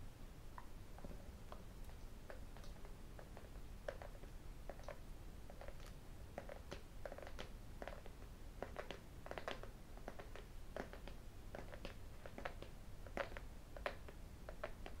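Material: Cardboard.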